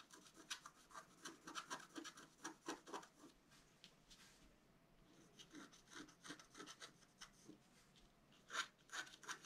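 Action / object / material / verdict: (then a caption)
scrape / black-coated scratch-art card scratched with a wooden stylus / coated paper / none. A wooden stylus held in the fingers scratches the coating of a flat, black-coated scratch-art card about A4 size lying on a white table, revealing colored lines. Quick, dry, bright rasping strokes come in bursts, briefly softening to a faint scrape in the middle before resuming, with the sharpest strokes near the end.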